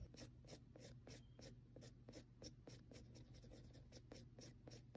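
A mechanical pencil tip taps and scratches rapid stipple marks onto a flat sheet of textured drawing paper already densely shaded in graphite. Each mark is a short, bright, dry tick over a faint steady low hum, coming in a quick, uneven rhythm at a soft, quiet level.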